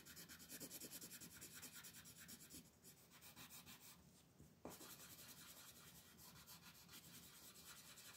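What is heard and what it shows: A red wooden colored pencil rubs hard across a flat white paper mandala coloring sheet held by fingertips. It makes quick, steady, bright scratchy strokes that thin out briefly midway, then resume after a sharper scrape.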